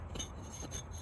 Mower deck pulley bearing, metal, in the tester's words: sounds like metal on metal inside the bearing